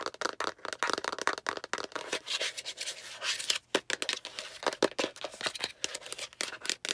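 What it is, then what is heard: Plastic egg capsule. Long nails rapidly tap and scratch the sides of a hollow, translucent yellow-green plastic egg capsule, and the egg is then turned to show its rounded end with the seam. The sound is a fast, dense run of dry, bright clicks with no low end, broken by a steadier scratchy rasp midway before the quick tapping resumes.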